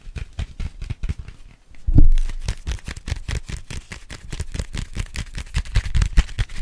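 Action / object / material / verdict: tap / small folded paper map booklet / paper / none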